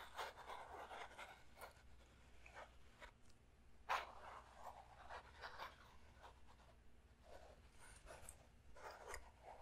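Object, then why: Small clear plastic puzzle cube. A small transparent plastic Rubik's-style puzzle cube with printed stickers is held in both hands close to the mic while fingertips and short nails scratch, tap and twist its faces. Soft, dry scratching and rustling runs through the clip, broken by light clicks, with one sharper, brighter click near the middle. A faint low hum sits underneath throughout.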